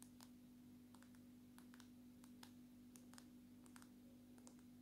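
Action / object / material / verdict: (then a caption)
tap / smartphone with glass back / glass / none. Long natural nails tap on the glass back and camera module of a dark smartphone, making a quiet series of light, bright clicks in quick, uneven bursts. A steady low hum runs underneath the whole time.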